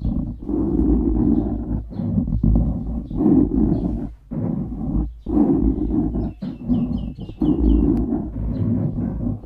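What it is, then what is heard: Foam microphone windscreen being scratched. The nails of both hands scratch across the top of a black foam windscreen on a microphone, producing a dense, muffled, rumbling scratch. The sound is heavy in the low end and continues in long bursts separated by brief silent gaps.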